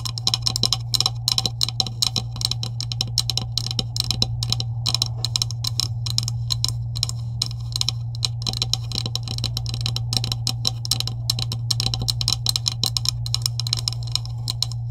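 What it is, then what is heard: Plastic tube tapped with fingernails. Long nails tap rapidly and continuously along the top of a hollow green plastic pipe-like tube with end caps, lying on a table. The taps are short, bright, clicky and die away almost instantly, over a steady low hum.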